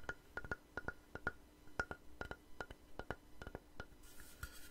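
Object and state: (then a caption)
Wooden board. A long, light-colored solid wooden board or plank, held upright, is tapped with fingernails and fingertips in an uneven rhythm of 19 quick taps. Each tap is a short, dry, woody click with a faint tonal ring near 1.4 kHz that dies away almost at once. A soft high hiss fills the last moments.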